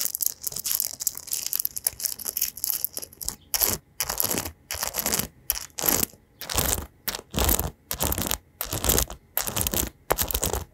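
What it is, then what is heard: Metal-pin paddle hairbrush. Fingertips run and strum across the dense metal pins of an oval paddle hairbrush with a white rim, held up in both hands. Quick, bright scratching and crackling fills the first few seconds, then it breaks into separate strumming sweeps with short silences between them.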